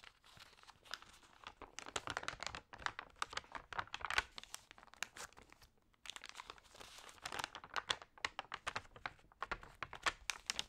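Fingertips press and rub the crinkly, damp pages of an open thin paper magazine and turn them. The result is dense, bright crackling and crinkling made of many short, sharp snaps with almost no low end. A brief quieter gap falls near the middle.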